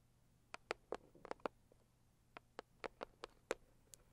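Long acrylic nails tap and scratch the lid of a closed, hollow, medium-size pink floral Saviland cardboard box. Twelve quiet, sharp clicks with a hollow mid-range body and bright edges come in two loose bursts, each dying away almost instantly over a faint low hum.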